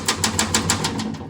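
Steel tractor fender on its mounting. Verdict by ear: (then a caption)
Loose. A steel fender on an Oliver tractor is shaken by hand, and its mounting flange rattles in a quick series of seven metallic clanks. The fender is loose only because screws are missing; the fender itself is still stiff.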